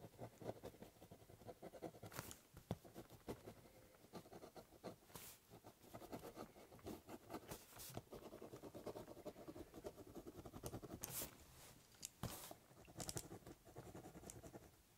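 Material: Cardboard.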